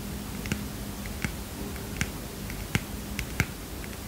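A small heart-shaped paper mini notepad, held in one hand, is tapped with the fingernails of the other. It gives a series of short, crisp, dry clicks with bright edges, spaced out over a steady low hum.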